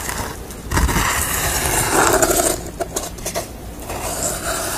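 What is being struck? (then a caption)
Painted corrugated cardboard. Long nails tap the corrugated edge of a red-face painting on corrugated cardboard and scratch across its painted surface. Dry, crisp taps break up bright, papery scratching that rises and fades in short strokes.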